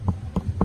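Three knocks on the very thick stalk of a giant bird of paradise plant at a resort in Mexico. Each knock is a short, dull, low thud with almost no ring, and the stalk sounds woody.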